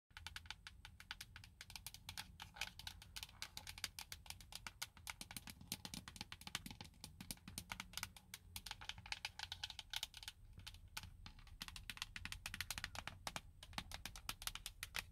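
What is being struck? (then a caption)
Hard plastic steering wheel hub cover. Long blue acrylic nails tap and scratch the hard molded plastic airbag cover on the center hub of a Nissan steering wheel, over a hollow cavity. The result is a quick, continuous run of sharp, bright clicks with very short ring. Soft scratching sits under the clicks, along with a low rumble.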